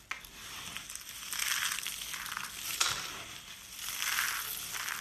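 Blue and green rolled dry-soap curls and flakes, solid and brittle, are squeezed and crushed in the hand, then the flakes are scooped up in both hands. This makes a dense, bright crunching and crackling that swells and fades in waves. A few sharp snaps stand out near the start and just before the three-second mark.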